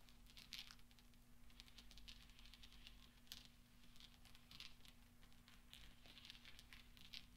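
Fingertips and nails rub and clink a pile of small solid steel pachinko balls resting on black velvet. The result is a quiet, steady stream of bright metallic clicks and soft rustling, with a few sharper clinks standing out. A faint low hum runs underneath throughout.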